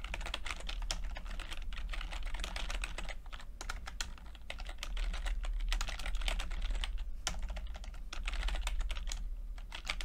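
Fingertips type on a plastic backlit chiclet computer keyboard with plastic keycaps, producing a steady stream of quick, dry, bright clicks. A low hum sits underneath the tapping throughout.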